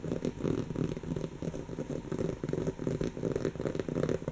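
Long natural fingernails scratch a soft, stuffed brown cushion of textured woven fabric. The result is a continuous, uneven run of dry, crackly scrapes at roughly three strokes per second. The sound is muffled and concentrated in the low-mid range, with very little high-end brightness.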